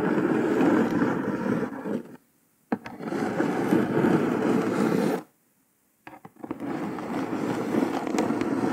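Long pointed nails tap and scratch across a flat brown kraft cardboard box lid with red printed text. Dry, papery scratching comes in three sustained bursts, split by two short silences, each ending with a few sharp taps.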